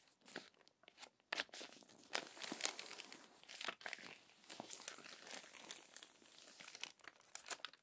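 Long nails turn and smooth the crinkled pages of an open glossy paper magazine. The result is quiet, bright crinkling and rustling with frequent sharp crackles and brief pauses between page movements.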